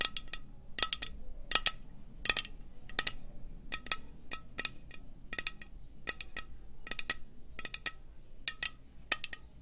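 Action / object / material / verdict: tap / metal aerosol spray can / metal / none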